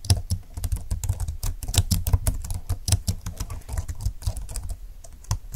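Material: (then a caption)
Plastic. Fingertips type continuously on a slim computer keyboard with plastic keys lying flat on a desk. The result is a fast, uneven run of short, dry clicks and taps, each with a soft low thump and a bright click on top that fades almost instantly.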